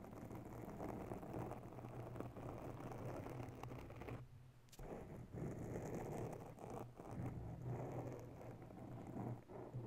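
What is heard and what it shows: Long nails of both hands slowly scratch the top of a round grey foam windscreen covering a mounted microphone. The result is a soft, continuous, rumbling crackle heavy in the low end, with a brief quieter gap near the middle before the scratching resumes.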